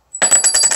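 A thin, light souvenir coin from a Civil War museum, which feels like plastic, is dropped and lands with several quick bright clinks and a high, thin metallic ring. The ring shows the coin is metal rather than plastic, probably a lightweight metal such as aluminum.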